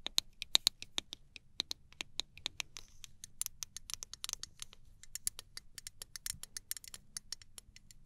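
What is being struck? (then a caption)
Small aluminum spray bottle with plastic cap. Long nails scratch and tap across a small gold aluminum travel spray bottle, moving over its metal body and clear plastic cap. A rapid series of dry, bright clicks and scratchy ticks sounds, each dying out instantly with no ring, over a faint low rumble.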